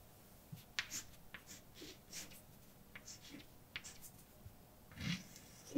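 A hand writes letters with white chalk on a large, dark, flat, solid chalkboard. About ten quiet, bright scrapes and short taps sound in an uneven rhythm over faint background noise. A louder knock comes right at the end.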